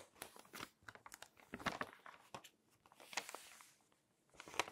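An open glossy paper magazine with full-page tree photos has its page surface rubbed by a hand with long nails, and its pages are turned. The result is quiet, dry crinkling and rustling in short, bright bursts with sharp crackly snaps, separated by brief near-silent gaps.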